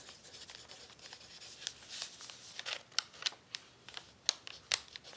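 A graphite pencil tip writes on a thin, crumpled brown paper sheet lying flat on a tablecloth and held down by one hand. Soft, dry, bright scratching and crinkling continues throughout, broken by sharper crackles and ticks as the pencil strokes and lifts. There is almost no low end.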